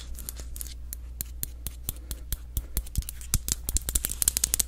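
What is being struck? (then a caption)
Glass candle jar. Long acrylic nails tap and scratch on the glass of a medium green candle jar with a paper label that appears solid and full of wax. The result is a rapid series of bright, sharp clicks with no ring, softer scratching at first and louder, denser taps toward the end. A steady low hum runs underneath.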